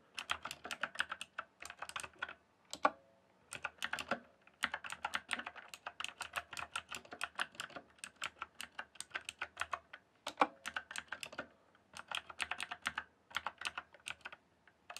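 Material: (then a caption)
Plastic. Fingertips type on a rainbow-backlit mechanical keyboard with plastic keycaps. Rapid runs of short, sharp clacks with bright, high clicks are broken by brief pauses, and a few keystrokes land noticeably louder. Each keystroke stops almost instantly, with no ring.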